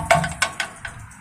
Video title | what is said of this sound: Beautiful Green House Washed (Turns out it was White) | maybe it's a fiberglass but it sounds like metal